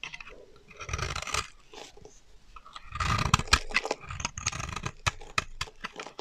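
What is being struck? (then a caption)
Bar of soap. A blade carves a solid lilac-purple bar of dry soap held in the hand into thin stacked curls, then scrapes it flat. The result is dry, crunchy scraping strokes in bursts, bright and gritty with a low rasp underneath, punctuated by sharp snapping clicks as the curls break away.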